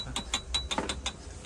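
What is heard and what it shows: A piece of old jadeite rough with yellow mist and bright green color is tapped six times, giving short, crisp ringing clicks with a steel-plate-like tone that fade quickly. The ring marks the stone as dense and crisp with excellent texture, though this is stated rather than confirmed by cutting.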